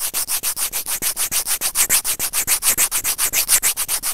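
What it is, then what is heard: Plastic earphone microphone remote scraped with tweezers. White plastic tweezers with serrated tips, held in fingers, grip and scrape the small hollow white plastic housing of an Apple earphone inline mic remote. The result is a steady run of about 28 quick, bright rubbing and scratching strokes, each a short burst of hiss that fades between strokes.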